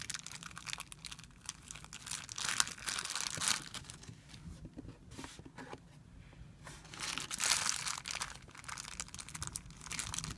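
A thin, clear plastic film bag spread on a white surface is rubbed and pinched with flat fingers, producing bright, dense crinkling and crackling. The crinkling comes in irregular bursts, swelling louder around the third and eighth seconds, over a faint low hum.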